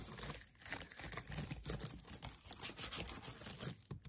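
Fingertips with short nails tap and press the black plastic keys of a MacBook Air keyboard, its aluminium body lying on a desk, in a typing motion. A quick, steady run of soft, crisp clicks and light rattles plays for about four seconds, each click dying away almost at once.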